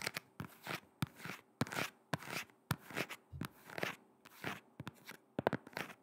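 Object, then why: Shoe with rubber sole. A black shoe with a rubber sole is held near the microphone and tapped and scratched on its sole with long red nails. Sharp, dry clicks alternate with short, bright scratching swishes in a quiet, irregular rhythm.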